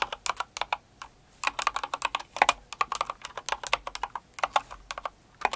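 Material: Plastic.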